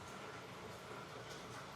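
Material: Nothing is struck.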